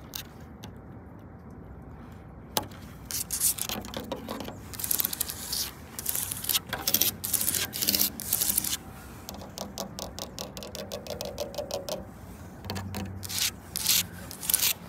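Long, pointed acrylic nails scratch and tap along the horizontal slats of a large, solid wooden park bench outdoors, and across the gaps between them. The result is a quiet run of bright, crisp scraping strokes and quick clicky taps, mostly high-pitched with little low end.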